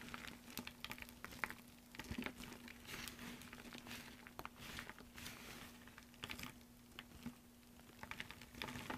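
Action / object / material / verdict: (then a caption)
scrape / pile of soap shavings / soap / none. Fingertips with short painted nails scoop, squeeze and crumble a loose heap of thin, brittle green soap flakes and chips resting on a dark surface. Quiet, dry crinkling and crunching fills the clip, dotted with many sharp, bright crackles and clicks over a faint steady low hum.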